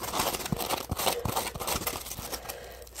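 A palm-sized, solid yellow smiley-face Scrub Daddy sponge made of textured polymer foam is held in both hands while fingertips squeeze and scratch it. The result is a steady, crinkly, scratchy rustle with bright hiss and quick soft thumps, swelling slightly louder at the very end.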